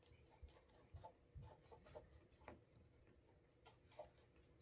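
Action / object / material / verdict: scrape / leather dress shoe / leather / none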